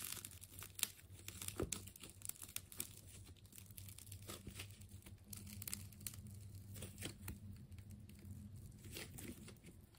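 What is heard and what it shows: A utility knife slices through the layers of a partly cut, purple wound plastic tape ball, producing quick bright tearing and crinkling sounds with sharp crackles. A steady low hum runs underneath throughout.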